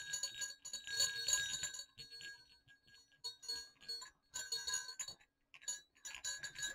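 Two small hollow silver metal jingle bells on a cord are shaken and swung, giving bright, high tinkling jingles and clinks in irregular bursts. Short pauses of near silence separate the bursts, and each ring fades quickly.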